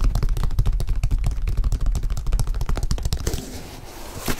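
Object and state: Leather sneaker tapped and scratched.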